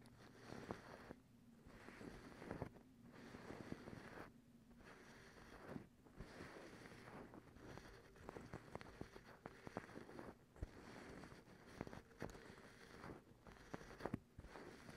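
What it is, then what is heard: Cotton terry towel. Long acrylic nails scratch and pick at a folded, white, fluffy cotton terry towel. The result is a soft, dense, fibrous rustling with scattered sharp little clicks and short quiet breaks between strokes. The sound is quiet overall, with most of its weight in the low and middle range.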